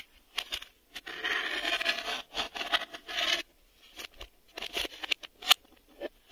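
Fingertips and nails tap and scratch a black, hollow hard-plastic VHS video cassette, working over the ribbed plastic, the door edge and the underside with its reel hubs. Bright, dry scraping fills a long stretch in the first half, followed by shorter scratches and quick clicks with no ring.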